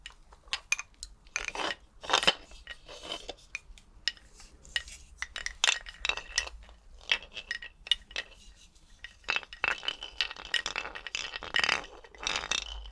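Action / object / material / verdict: shake / skeleton bones / unknown / none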